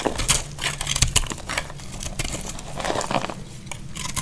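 A small knife keeps cutting crumbly pieces off a solid dry green soap bar held in the hand. The result is a steady run of crisp, dry crunching and scraping sounds with bright crackly edges over a low hum.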